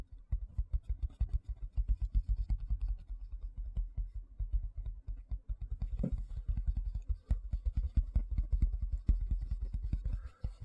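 Fingertips and nails give fast taps and scratches on the flat face of a large white plastic tray held vertically. A dense, steady run of quick, deep, muffled thumps dominates, each dying away almost at once, with faint dry scratching underneath.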